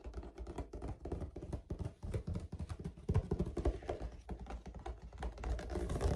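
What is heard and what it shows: Short fingernails tap and scratch across a large, flat white plastic lid with a woven-look perforated pattern, possibly from a storage box or laundry basket, hollow underneath. The result is a rapid, uneven run of dull, low, hollow taps and brief scratchy scuffs with almost no ring.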